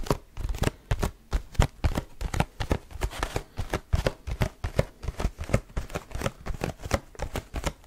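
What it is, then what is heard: Cardboard tissue box. Fingertips grip, squeeze and tap the sides of a small, cube-shaped, mostly hollow cardboard tissue box with a leaf print and tissues showing at the top. The result is a rapid, steady run of short, dry, hollow taps and crinkly squeezes, mostly low and dull with brief bright edges and almost no ring.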